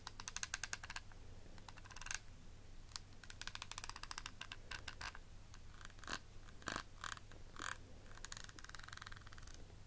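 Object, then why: Hollow clear plastic compact case. Long nails tap and scratch the faceted lid of a small, rectangular, hollow, clear plastic eyeshadow palette compact with beaded edges. Quick bursts of bright, sharp clicks alternate with scratchy rasps and short, ringing taps, all over a steady low hum.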